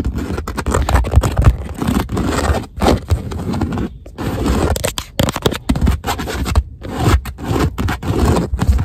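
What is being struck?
Padded leather car seat.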